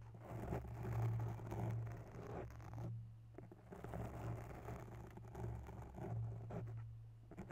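Long bare nails scratch and tap a grey foam microphone windscreen up close. The result is a soft, slow, muffled scraping and rustling with light taps. The sound is dominated by a low rumbling hum and has almost no bright content.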